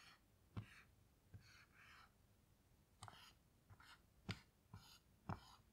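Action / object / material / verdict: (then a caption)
scrape / dry-erase marker on a small melamine whiteboard / melamine / none. A black dry-erase marker tip writes and glides across a small melamine lap whiteboard with a white surface and grey plastic frame, lying flat on a table while the other hand rests on the board. Quiet, irregular strokes come as short, bright, squeaky scratches, each starting with a soft tap of the tip.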